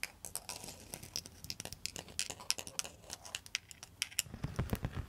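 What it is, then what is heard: Bamboo pan flute. A bamboo pan flute, a bundle of hollow bamboo tubes, is tapped and scratched with long pointed metal nail extensions. Rapid, bright clicks and dry scratches patter unevenly, each dying away almost at once, with a few duller, lower knocks toward the end.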